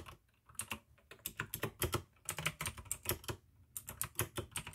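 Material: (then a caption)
Plastic. Both hands type continuously with fingertips on a full-size pink AUKEY mechanical keyboard with plastic keycaps and clicky blue switches. Quick bursts of sharp, bright clicks, each decaying almost instantly, are separated by brief pauses and carry a light low-pitched thock underneath.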